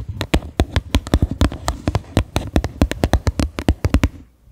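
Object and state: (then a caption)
Upturned plastic bowl. Fingertips and long nails tap the base and rim of a medium white faceted bowl, likely plastic, set upside down and hollow. About 29 quick, hollow taps follow one another in an uneven rhythm, each a dull, low knock with a little clicky brightness. Every tap dies away almost instantly, and the taps stop just before the end.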